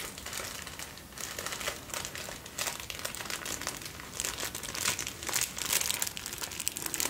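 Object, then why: Thin tissue paper sheet. A folded sheet of thin white tissue paper is held up close in both hands and crinkled and rubbed between fingertips with short nails. It makes a steady, soft, bright crinkling with dense high rustle and almost no low end, swelling slightly louder toward the end.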